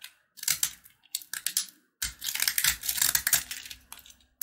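A red and white sugar-coated peanut candy bar held in the hand is repeatedly scraped and carved with a box-cutter blade across its crunchy surface. Bursts of bright, dry, crackling scrapes come in quick clusters with short pauses between them.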